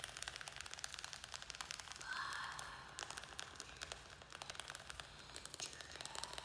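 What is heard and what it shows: A small square black plastic nursery pot, filled with soil and a string-of-pearls plant, is held in the hands and tapped and scratched with fingernails. The result is a quiet, rapid run of crisp, bright clicks with almost no ring, plus a brief rasping scratch swell about two seconds in.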